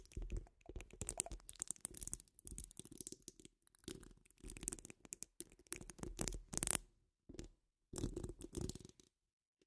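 Long acrylic nails scratch a metal mesh microphone grille while hands wrap around the dome. Dense bursts of rough, rasping scratches come in uneven clusters separated by brief silences. Each burst carries a heavy low rumble with bright, hissy highs on top.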